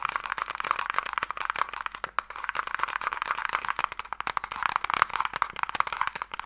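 Fingertips and long nails tap rapidly across the lid of a closed wooden Mikado box held in both hands. The result is a dense, steady stream of dry, clicky taps centered in the midrange around 1.2 kHz, each dying away almost instantly with no low-end body.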